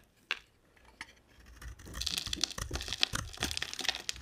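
A box-cutter blade carves and scrapes chunks off a solid, dry, light-blue, hand-sized bar of soap embossed "POSHE." Two sharp, isolated clicks open the clip, then a dense, bright, crunchy scraping builds and continues with crisp crackles until the end.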